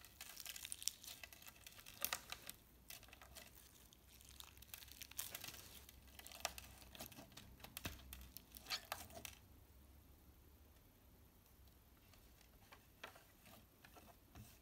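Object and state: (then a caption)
Slime with plastic sequins, kneaded. A small handful of soft, solid clear slime packed with plastic heart sequins is kneaded, pressed and rubbed between the fingertips of both hands on a tablecloth. Dense, bright crinkling and crackling rise and fall through the first nine seconds. After that the sound thins to sparse, quieter clicks.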